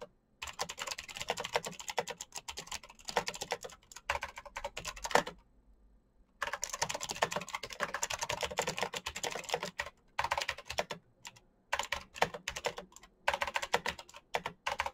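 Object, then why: Plastic mechanical keyboard. Both hands type quickly with their fingertips on a black plastic mechanical keyboard with RGB backlight, producing a dense stream of crisp, bright key clicks. The typing runs in bursts, with a clear pause about a third of the way through and shorter breaks near the end.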